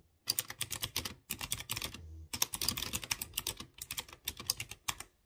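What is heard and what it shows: Fingertips type quickly on a typewriter-style mechanical keyboard with chrome-rimmed round keycaps on exposed blue switches. Rapid, bright, clicky keystrokes come in dense bursts, each click dying away almost instantly. A brief lull near the two-second mark carries only a faint low hum before the typing resumes.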